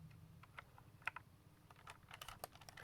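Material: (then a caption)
Plastic. A swapped-in plastic Xbox thumbstick fitted to a Razer Wolverine Tournament Edition game controller rattles as the controller is shaken, giving a series of quick, light, bright plastic clicks over a low steady hum. The thumbstick is loosely held, its attachment having no strength.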